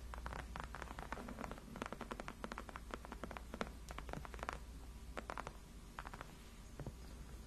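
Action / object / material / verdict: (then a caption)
scrape / padded faux leather chair backrest / faux leather / none. Long acrylic nails on both hands scratch and tap the white padded faux leather backrest of a gaming chair, working over its surface and top edge. A quiet, rapid stream of short, dry clicks and soft scratches plays over a steady low hum.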